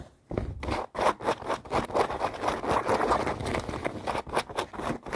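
Long nails scratch quickly over light-blue denim jeans and their seams as the jeans are held and lie in a suitcase. The result is a fast series of dry, rasping scrapes with little low end and almost no ring.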